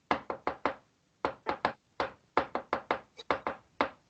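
Knuckles rap on a wooden table, producing 16 sharp, dry knocks in irregular clusters with a brief pause after the first four. Each knock is short and mid-pitched, with almost no ring.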